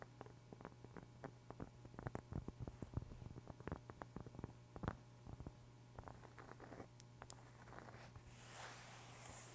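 Long pink acrylic nails scratch and tap a large, flat, thin, solid round cork board held in both hands close to the microphone. The result is a quiet, rapid series of short, dry scratchy ticks over a steady low hum, ending in a softer, brighter hissing rustle.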